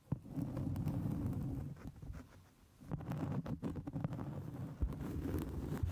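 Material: Cork.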